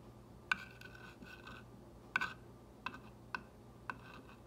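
A clear glass or acrylic ball-tipped rod traces and taps the white script letters of a green-painted solid wooden block sign lying on a table. Several sharp, irregular taps ring briefly around 1.5 kHz with a bright edge, separated by faint rubbing as the rod moves along the lettering.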